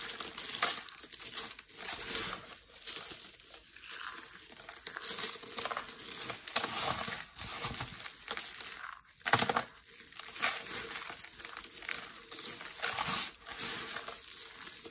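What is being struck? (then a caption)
Soap shavings. A pile of pale pink dry soap shavings on a purple mat is crushed and rubbed with the fingertips of both hands. The result is a continuous, bright, dry crunching and crinkling with many small crackles and almost no low end.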